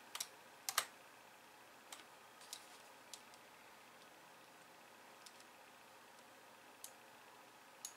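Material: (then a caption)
Plastic. Long painted nails type on a hollow, pink-framed plastic computer keyboard with white keys resting on a wooden desk, ending with one hand tapping. Nine sparse, quiet, bright plastic clicks stand out, each short and dry with almost no ring, over a faint hiss.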